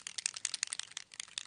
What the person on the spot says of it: give it a good shake so shake it and then you'll hear the ball bearing start to wiggle about